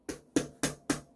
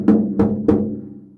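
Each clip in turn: First: carbon fiber bicycle wheel rim, dull tap sound. Second: bamboo composite bicycle wheel, drum-like tone.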